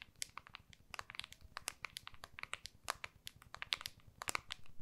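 Long nails tap and scratch the back of an iPhone in a small, solid, clear plastic case held upright in both hands. Quick, bright, crisp clicks and dry scratches come in an irregular flurry, each dying away instantly over a faint low rumble.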